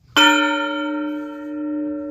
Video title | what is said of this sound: Heritage Village, Minnedosa MB | she carries a ring but you hear that high pitch ring it wouldn't have sounded like that